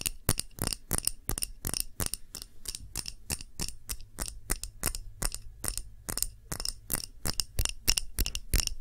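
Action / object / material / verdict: tap / glass candle jar / glass / none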